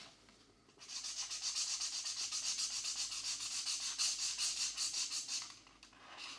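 A purple felt-tip marker rubs back and forth across the paper page of an open paperback coloring book lying on a desk mat, while the other hand holds the book flat. The sound is a quick, fairly regular run of soft, bright scratching strokes that builds after a short quiet start and fades near the end.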